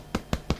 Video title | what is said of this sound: Self-Sufficient in Suburbia Mid Winter 2013 | if you hear me tapping on it nice Hollow sound to it which means this is definitely ready